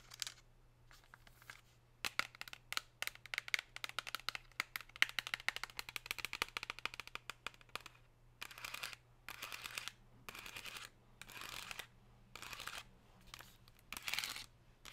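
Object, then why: Thin plastic insert tray. Long pink nails tap and scratch along the raised chevron ridges of an empty, thin, hollow, metallic-looking plastic chocolate insert tray. For the first half there is rapid, irregular tapping of sharp, bright clicks with no ring. This gives way to short, hissy scratching bursts separated by brief pauses, all over a faint steady low hum.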